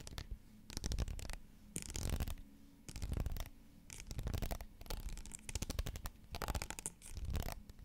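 Fingernails scratch the ribs of a tall pink ridged plastic bottle held upright beside a microphone. Repeated bursts of rapid, rasping scratches alternate with short quiet gaps. Each burst has a dull, low-heavy rumble beneath a bright, crisp edge.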